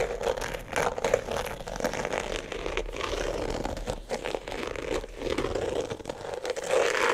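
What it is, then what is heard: Glitter sneaker scratched. Fingernails scratch and rub the glittery upper and laces of a single empty glitter sneaker with a rubber platform sole, held in one hand. The result is a dense, continuous run of crinkly, scratchy rasps centered in the midrange, with brief dips and swells but no long pauses.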